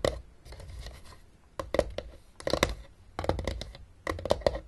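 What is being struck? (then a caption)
Hollow plastic game case. Long dark nails on both hands tap and scratch the top edge of a closed, hollow, blue plastic travel Battleship case resting on a table. Quick bursts of sharp, dry clicks with a hollow plastic knock around 570 Hz alternate with softer scratchy rasping and short pauses. Each tap dies almost instantly.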